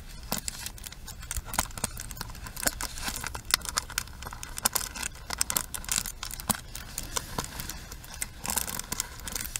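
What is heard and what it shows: Long pink nails tap and scratch the frame and pins of a pink plastic paddle hairbrush with a hollow handle and plastic pins set in a cushion, held in both hands. Quick, dry clicks and bright scratchy patter come in a dense, uneven stream over a low background rumble.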